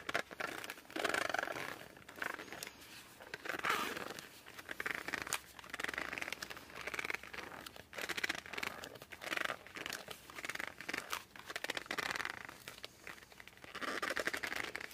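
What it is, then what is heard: Laminated cardboard board book, gripped and squeaked. Fingers grip the edges and cover of a laminated cardboard board book, first edge-on and then from the front, producing repeated squeaks. The dry, rubbing squeaks come in bursts centred around 2 kHz with bright upper content and almost no low end, and brief quieter pauses fall between bursts.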